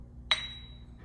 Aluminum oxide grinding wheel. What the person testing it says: tap that with the back side of a chisel or a screwdriver, you should hear a nice clear ring